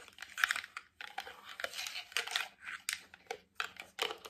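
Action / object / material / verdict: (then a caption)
tap / plastic cream jar with lid / plastic / none. A hollow, medium white plastic cosmetic cream jar with a lid is tapped on its base, lid and sides with nails, fingertips and rings. Quick, dry, bright clicks and crinkly rattling taps come in uneven bursts with very short decay and brief silent gaps between them.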